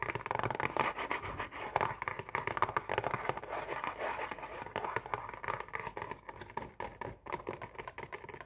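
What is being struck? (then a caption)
Printed cardboard cookie box. Long painted nails tap rapidly across the face of a printed cardboard Oreo cookie box, hollow and holding cookies. The result is a dense, steady stream of dry, hollow clicks and light scratchy scrapes, centered in the midrange with little low end and almost no ring after each tap.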